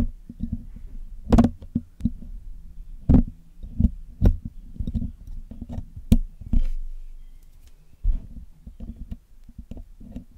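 A metal needle and metal tweezers pick at the hollow black metal mesh grille of a Blue Yeti microphone while it is being cleaned. The sound is a series of dull, low, close-up taps and scratchy scrapes, punctuated by a few sharp, bright clicks that die away almost instantly.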